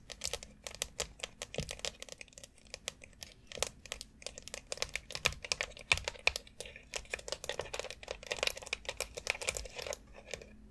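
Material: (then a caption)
Plastic. Long acrylic nails tap and scratch across a long white foot massage board of hollow molded plastic, covered in rounded plastic nubs with a central dome. The result is a dense, irregular stream of quick, bright plastic clicks and scratchy rasps that die away almost instantly, with little low end.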